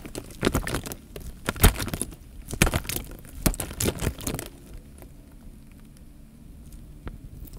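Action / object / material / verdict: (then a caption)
scrape / plastic bag filled with water / plastic, water / none. A clear plastic bag full of water, with air bubbles in it, is held against the mic and pressed and rubbed with fingers. For about four and a half seconds it gives irregular bursts of crinkly patting and soft sloshing thuds with a heavy low end. It then drops to a near-quiet hush with only a few faint taps.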